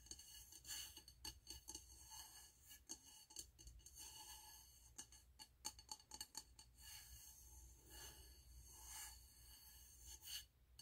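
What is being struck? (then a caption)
Frosted glass candle jar filled with wax. Fingernails tap the frosted glass wall of a medium, wax-filled frosted glass candle jar with a gold lid, held in the hands. The result is a quick run of light, bright clicks with a short glassy ring, some landing in rapid clusters over a faint low hum.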